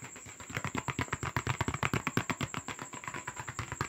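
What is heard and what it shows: Fast tapping and scratching on a paper box, made as an ASMR trigger, produces around twenty quick, dry, irregular taps with some scratchy rustle. Each tap stops almost at once and has no ring, and a faint steady high tone sits underneath the whole time.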